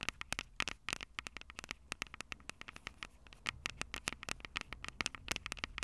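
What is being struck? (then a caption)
Metal-mesh microphone capsules of a handheld recorder. Long purple nails tap and scratch the two small metal-mesh condenser mic capsules on top of a Tascam DR-05 handheld recorder with a black plastic body, the same recorder capturing the sound. A rapid, irregular run of sharp, bright clicks with a clear high sheen and almost no ring, over a faint low rumble. Between taps, soft scratchy rustles are heard, and the clicks grow louder and busier in the second half.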